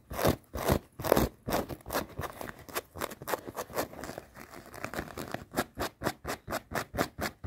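A folded, soft black cloth garment is scratched and rubbed with long painted nails and fingertips. The result is a rapid run of about 32 dry, brushy scratching strokes, louder and heavier at first, then quicker, crisper and more even toward the end.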